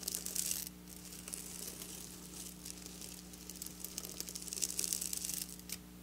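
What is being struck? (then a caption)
Sequin fabric scratched with fingernails. Long black nails scratch and tap across flat silver sequin fabric, making bright, crisp, crinkling rasps. The scratching swells in a loud burst at the start and again near the end, with quieter scraping in between over a steady low hum.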